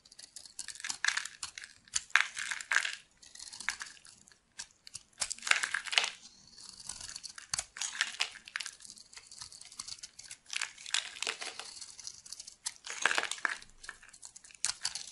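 A solid white oval bar of soap with a shell pattern, held in the hand, is scraped and carved with a metal blade into flakes. Dry, crinkly scraping and crumbling comes in repeated bright bursts with quiet gaps between strokes and almost no low end.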